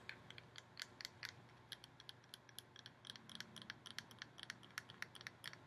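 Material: Metal.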